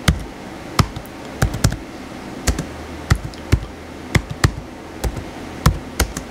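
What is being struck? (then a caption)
Plastic laptop keyboard keys. Fingertips type quickly on the white plastic keys of a blue plastic laptop keyboard, producing a run of short, dry clicks and taps at an uneven rhythm. Each keystroke is brief with a low thump and a bright click, dying away almost instantly over a quiet background.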